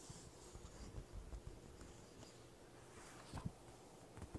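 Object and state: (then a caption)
Paper sheet tapped and scratched. A thin, flat sheet of white printer paper on carpet is flexed by both hands, then tapped and scratched with fingertips and short nails while it lies flat. The result is quiet, low-pitched crinkling and rustling with soft, dull taps and faint scratchy strokes.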